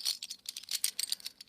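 A handful of metal bottle caps falls through fingers, runs across a palm and drops into a lidded box. The result is a quick, bright metallic rattling and jangling of light clinks, with almost all the energy in the high frequencies.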